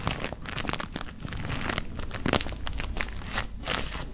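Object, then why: Paper tea bag. Fingertips crinkle and rub a small white paper tea bag with a string hanging down, held close to the mic. Dense, continuous crackling and rustling fills the clip in quick, overlapping bursts with a soft low rumble beneath, and no single sound rings on.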